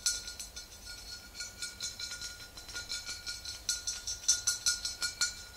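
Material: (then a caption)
Glass. Long green acrylic nails tap the neck and shoulder of a large green-tinted glass bottle full of pale liquid. Around nineteen quick, unevenly spaced taps each give a bright, high glassy clink with a faint steady ring underneath, dying away fast between taps.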